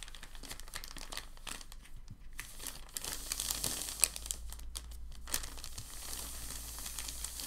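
Hands fold the corner of a large, thin, white crumpled sheet of packing paper over on a dark table, then press and rub it flat with their palms. The paper gives a steady stream of dense, bright crinkling and crackling over a constant low hum, with a sharper snap at about 4 seconds. The crackle stays fairly even through to the end.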